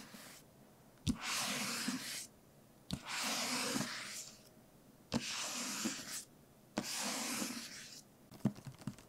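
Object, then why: Paperback book. A medium paperback novel with a glossy printed cover and a solid paper block, held in one hand, is tapped and scratched with the fingertips and short nails of the other hand. Sharp taps each lead into a second or so of bright, hissing scratching across the cover, repeated four times, and the clip ends with a quick flurry of light, dry taps.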